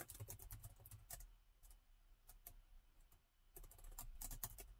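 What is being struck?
Laptop keyboard with plastic keys.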